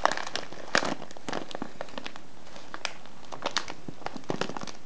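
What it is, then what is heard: Kraft paper tea bag crinkled. Fingertips squeeze, fold and crinkle a small, hollow brown kraft-paper tea package with a clear plastic window, filled with loose herbal tea. Irregular bursts of crisp, bright crinkling and crackling come in quick snaps, with short pauses between them. The result is a dry, papery rustle at low volume.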